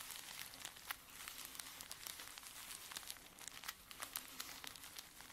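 Fingertips and short nails rub and scratch the top of a small stack of soft, folded filter-paper camomile tea sachets filled with dry tea, lying flat on a dark table. The result is a quiet, continuous, bright papery crinkling and scratching, broken by many quick crisp ticks with almost no low end.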